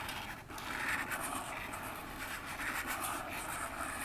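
An upright, hollow orange cardboard phone box has its front face scratched and tapped with long fingernails. The result is a continuous, dry scratching rasp, bright in the upper mids and highs, with faint tapping mixed in rather than clearly separate hits.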